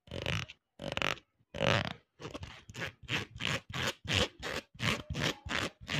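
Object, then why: Plastic hair comb. A green and white plastic hair comb, about hand length with fine teeth, is held in both hands close to the mic while fingers and nails run along its teeth. The result is a fast, fairly even series of short, bright, raspy scraping strokes separated by brief gaps, each with a buzzy, grunt-like low rattle underneath.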